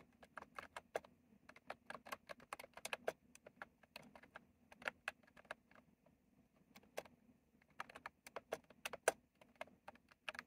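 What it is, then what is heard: Plastic mechanical keyboard being typed on. Fingertips type on a retro plastic mechanical keyboard with round plastic keycaps, producing quick, sharp, bright clicks in uneven bursts with brief pauses between. Each keystroke is short and dry, with almost no ring, over a faint low hum.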